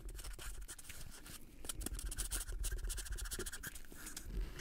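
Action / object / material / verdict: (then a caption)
scrape / thin plastic cup / plastic / none. A small hollow red plastic party cup with white dots is held in both black-gloved hands and scratched and squeezed with the gloved fingertips. The result is a dense, irregular stream of quick scratchy scrapes and bright crinkly bursts over a low, muffled handling rumble, growing slightly louder toward the middle and end.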